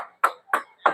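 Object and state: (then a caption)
Solid, thick plastic motorcycle fairing. Three short, solid knocks on the plastic fairing of a 2026 Euro Motor Vperman 150i motorcycle give a firm, mid-pitched tap with a quick decay and no rattle. The fairing panels are thicker than on earlier models, which sounded rattly when knocked, so this one sounds solid.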